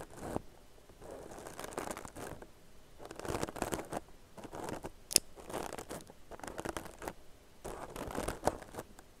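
Long nails scratch along the surface of a soft, hollow, tan crocheted yarn purse. The result is a series of dry, rustling scratch strokes in uneven bursts, with midrange texture and a couple of sharp, bright clicks near the end.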